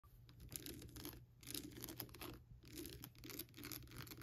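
Long black-tipped acrylic nails tap and scratch across the textured surface and teeth of a life-size hollow skull lamp, lit from inside, with a glittery, crackled translucent plastic surface. The result is dense bursts of bright, crackly scratching and tapping, rising and falling over a steady low hum.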